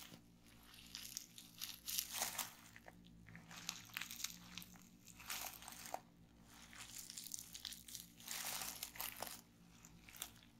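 Fingertips and long painted nails press and pop the air bubbles in a folded sheet of clear plastic bubble wrap lying on a wooden table. Bright crinkling and crunchy snaps come in quick bursts and clusters, with sharper pops standing out against a soft, continuous plastic rustle.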